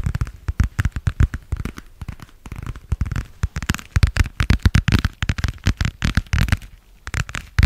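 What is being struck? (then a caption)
Thin flexible vinyl plastic cover. A thin, flexible, pale blue translucent vinyl plastic cover about the size of a book, with a stitched edge, is tapped, squeezed and crinkled with fingertips and nails. It makes a rapid, irregular run of dozens of short, dry taps and crinkles, mostly soft, low thumps with faint bright crackle. Each sound dies at once with no ring.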